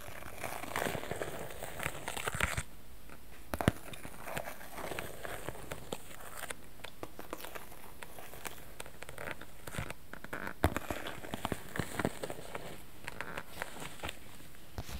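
A small clear PVC zip cosmetic pouch with black trim is held up in the hands while fingertips squeeze and crinkle the plastic. A steady, quiet crinkling runs throughout, broken by brief, sharp crackling snaps, the loudest near 3.6 and 10.7 seconds.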